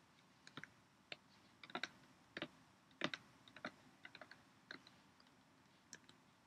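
A clear PET Poland Spring plastic bottle, partly full of water, is tapped with long nails and then squeezed and crinkled by hand. About twenty quiet, sharp, bright clicks and crackles come at an uneven pace, each dying away almost at once.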